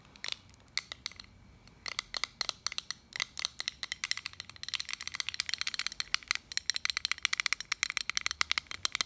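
Fingernails tap and scratch the face and edge of a small round metal pin-back button badge. About fifty quick, dry, bright clicks with no ring start sparse and grow into a dense, rapid, crackling patter mixed with light scraping. The sound stays quiet, thin and high throughout, with no low end.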